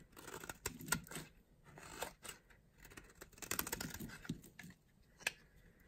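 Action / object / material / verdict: scrape / bar of soap cut with a blade / soap / none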